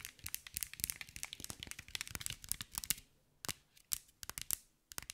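Long white nails tap and scratch across a hand-sized green mirror and glass mosaic ball. Dense, rapid bright clicks and crackly scratching come first, then a brief pause, then sparser sharp taps. Each tap is crisp and dies away almost instantly.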